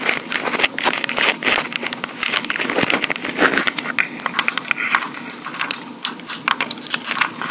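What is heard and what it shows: Long pink acrylic nails on both hands tap and scratch the top and sides of a small handheld Tascam recorder, a hard black plastic body with mic capsules on top that is itself doing the recording. Dense, rapid, crisp clicks mix with a steady, bright, scratchy crackle, with almost no low end. The taps are close and loud, and each dies away almost instantly.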